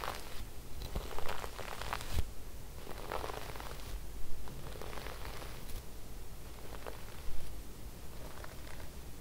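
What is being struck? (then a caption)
Sequin-embroidered fabric brushed with a bristle brush. A wooden bristle brush is swept across cream fabric with silver sequin floral embroidery, making soft, scratchy rustling strokes that come in uneven bursts. A steady low rumble sits beneath the brushing throughout.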